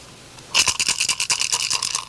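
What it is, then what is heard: Turtle shell rattle with pebbles inside. A turtle shell rattle for stomp dance, holding a first hand-measured filling of smooth pebbles, is shaken with its mouth held closed to check the sound. After a brief quiet start, a rapid run of dry, bright pebble rattles sounds with almost no low end. The first filling is being tested before more pebbles are added.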